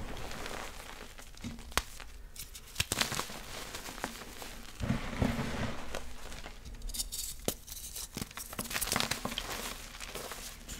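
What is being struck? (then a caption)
Gym chalk block (magnesium carbonate). Two hands with painted nails squeeze, crush and rub small, solid, dry blue-green blocks of gym chalk (magnesium carbonate) into powder over a large pile of yellow and green chalk powder. Dense crunchy crackling and grainy crumbling are broken by sharp, bright snaps as the blocks give way, over a faint low hum. The blocks crumble into soft, powdery rustling.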